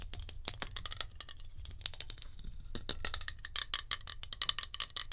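Long nails tap quickly on a metal hairspray can. The result is a rapid stream of bright, clicky metallic taps with almost no ring, over a faint low rumble.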